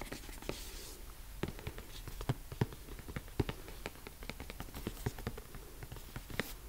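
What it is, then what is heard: Cardboard microphone box. A medium-size, hollow, closed white printed cardboard retail box for Rode M5 microphones is held up in one hand and tapped with the fingertips and nails of the other hand on its face and side. The result is a quiet, irregular run of short, dry taps with low, hollow thuds and brighter clicks from the nails. Each tap dies away almost instantly.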